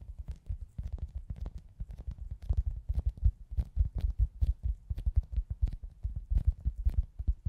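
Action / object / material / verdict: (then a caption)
tap / soft foam squishy toy / foam / none. A hand-sized, soft, solid foam squishy toy shaped like a pizza slice with a cartoon face is held in both hands and tapped and scratched with long acrylic nails. The result is a steady stream of rapid, muffled, low thuds, each dying away almost instantly, with faint bright nail clicks on top.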